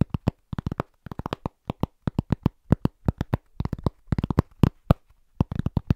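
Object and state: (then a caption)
Cork trivet. Both hands tap fast with their fingertips on a large, round, flat, solid cork trivet board held against the chest. The result is a rapid, rhythmic stream of dozens of short, dull, low thuds with no ring, coming in quick bursts and brief pauses.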